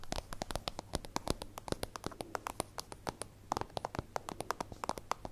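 A small, hollow, translucent soft-plastic zip pencil case with a holographic iridescent layer, contents not visible, is held in one hand and tapped with long acrylic nails. It gives a steady, rapid run of short, crisp clicks with bright edges and a hollow, plasticky mid tone around 800 Hz. Each tap dies away almost at once.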